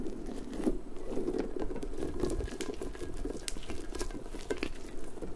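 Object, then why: Soft-spiked rubber puffer ball. A large, hollow, pink, stretchy rubber puffer ball with soft spikes is squeezed and stretched with long nails and fingertips, which scratch through the spikes. The result is a steady, dense patter of soft rubbery crinkling and scratching, centered in the low-mids, with brief bright nail clicks scattered throughout.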